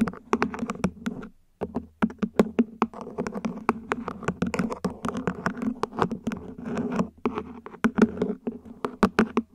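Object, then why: Small ribbed plastic plant pot, upside down. Long nails tap and scratch the ribbed surface of a small, hollow, mint-green plant pot, probably plastic, placed upside down. Quick, dry taps fall in irregular bursts over a scratchy rasp, with a brief pause near the start. Each tap has a hollow low-mid tone that dies away almost instantly.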